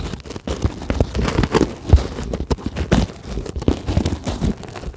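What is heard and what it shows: Long glittery acrylic nails scratch fast across a flat white sheet of solid closed-cell polyethylene foam, producing a dense run of dry, crinkly scrapes and crunchy rasps. The scratches come in quick, overlapping bursts with a low, muffled body and little high sparkle.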